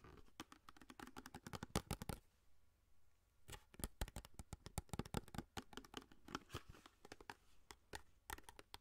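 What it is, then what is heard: Cardboard foil box scratched and tapped. Long nails scratch and tap along the length of a long orange cardboard aluminum foil box held in the hands, with some fast motion. A rapid run of sharp, dry taps and scratches gives way to a brief quiet stretch near the middle before the quick tapping resumes.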